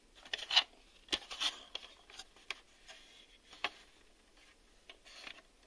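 A black hard-plastic VHS video cassette, a hollow shell with reels inside, is held in both hands and tapped with fingertips and short nails on its front face and label window. About nine quiet, irregular taps are heard: short, dry, bright plastic clicks with almost no low end and no ring.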